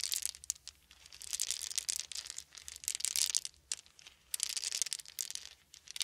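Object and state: Wooden beads.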